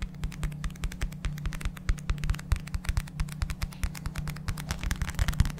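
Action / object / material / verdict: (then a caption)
tap / paperback book with paper cover / paper / none. A small black paperback book is held close to the microphone while its paper cover is rapidly tapped and scratched with fingertips and nails. Dozens of quick, dry taps sound in an irregular stream, each with a dull, bassy thump and almost no ring, over faint scratching.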